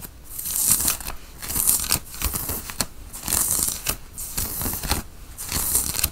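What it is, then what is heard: Cotton t-shirt scratched. Fingertips and nails scratch a white printed cotton t-shirt while it is being worn and pulled taut by hand. Bright, dry rasping strokes swell and fade in repeated bursts, with sharp scraping clicks and a faint low rumble underneath.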